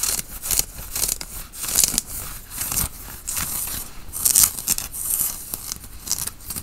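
Fingertips and nails scratch a worn grey tie-dye cotton t-shirt near the collar and sleeve. The result is a run of quick, dry, bright scratching strokes with a rustling, tearing texture, each stopping dead with no ring.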